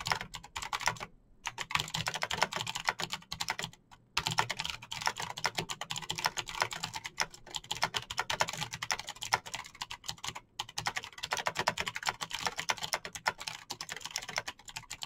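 Fingertips type fast on a backlit plastic Razer BlackWidow mechanical keyboard with clicky green switches. A dense, continuous stream of bright, sharp clicks and taps runs throughout, broken by a few brief pauses.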